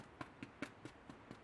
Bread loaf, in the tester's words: when he sounds hollow on the bottom he's done